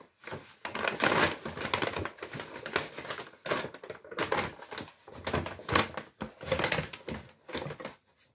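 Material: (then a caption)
Kraft paper. A large, empty brown Lidl kraft paper shopping bag is crumpled and rubbed by hand close to the microphone. Dry, crisp crinkling and rustling come in several bursts separated by short pauses. The sound is bright and papery, with little low end and almost no ring after each burst.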